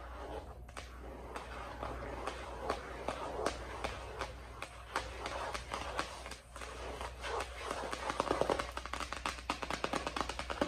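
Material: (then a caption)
Plastic. Long acrylic nails of both hands tap on the plastic sleeve cover of a white ring binder lying flat on a desk. A steady stream of quick, dry clicks and ticks with sharp bright edges, some faster flurries, and a low constant hum underneath.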